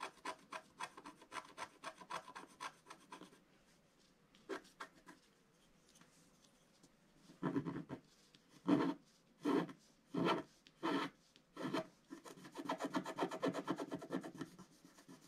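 A wooden stylus scratches the black wax coating off a scratch art sheet with a reindeer and Santa picture, lying flat on a table and held by one hand. Quick, dry scratchy strokes come in a rapid run, then a quiet pause with a few faint strokes. Six longer, louder rasping strokes follow, ending in a dense stretch of fast scratching.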